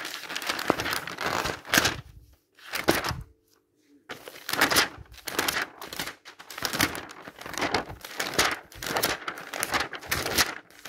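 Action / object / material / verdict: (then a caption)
flick / thin glossy paper catalog / paper / none. Fingertips turn and flip the pages of a thin glossy paper advertising catalog with rug and furniture pages, lying open on a table. Bursts of bright crinkling and rustling come in irregular waves, with a few brief near-silent gaps between page turns.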